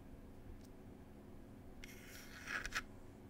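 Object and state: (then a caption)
Wooden tea box. Long pointed acrylic nails scratch and rub the wooden surface of a small wooden "Cherry Tea" box with a printed lid. A soft, bright scratching starts about halfway through over a steady low hum, then builds into three short, sharp scrapes near the end.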